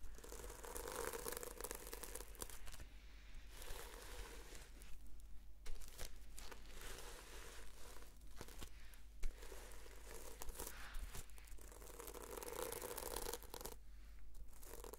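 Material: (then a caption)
Plastic sequins. Long fingernails slowly scratch across the sequin cover of a red sequin-covered notebook, making a quiet, steady crinkling and rasping texture. Brief pauses break up the scratching, and a faint low hum runs underneath throughout.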